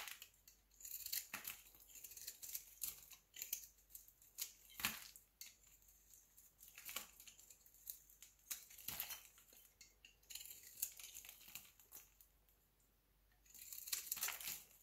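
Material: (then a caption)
Soap. A solid rectangular white bar of soap held in the hand is shaved with a utility knife blade. The clip is filled with quick, bright scraping and cutting strokes, with crisp crumbly crackles and short pauses between bursts.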